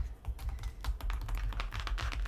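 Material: Cardboard.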